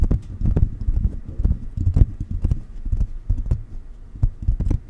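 Fingertips of both hands tap a silver metal USB condenser microphone, first on its metal body and then on its mesh grille. The result is a quick, irregular run of dull, low thumps that die away almost instantly, with faint bright clicks on top.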